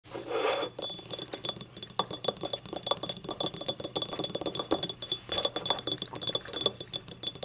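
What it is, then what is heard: Ceramic cup tapped with fingernails. Long acrylic nails rapidly tap and scratch the ribbed sides of a small, hollow, empty yellow glazed ceramic cup held upright. The result is a dense run of short, bright clicks and clinks with brief scraping passes over the ribs, each hit dying away almost instantly, with a faint steady tone near 3.4 kHz running underneath.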